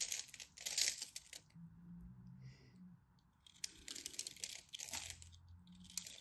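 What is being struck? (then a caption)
Bar of soap scraped with a knife. A black craft knife scrapes and carves crunchy flakes from the face of a dry, solid rectangular teal and white striped bar soap held in hand. Bursts of bright, crisp scraping and crunching alternate with quieter pauses, with faint low hum underneath.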